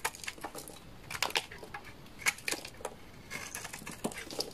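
A utility knife blade scrapes and shaves the surface of a solid, dry orange laundry soap bar held in the hand. It makes a series of short, crisp, bright scratching and crumbling bursts with very little low end, set against a quiet background.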